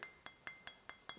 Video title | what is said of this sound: What the POWER BLOCKS are Missing! - DIY PlateMate | if i tap here you hear a very sharp sound